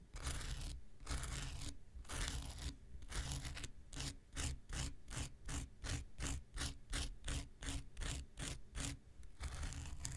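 An X-Acto knife blade scrapes across a small, solid, rectangular pink foam nail buffer block with a gritty surface. Long, broad, gritty scraping strokes come first, then give way to quicker, evenly paced short scratches with bright, hissy highs over a low rumble. The sound returns to a longer scrape at the end.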